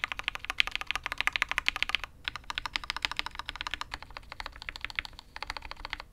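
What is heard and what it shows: A full-size Matrix 8xv 2.0 custom mechanical keyboard with INK Black switches, a dark aluminium case and red and grey ABS keycaps, sits on a desk mat while one hand's fingertips type quickly on it. A fast, steady run of crisp, bright clacks with almost no low end and no ring pauses briefly around two seconds, then continues.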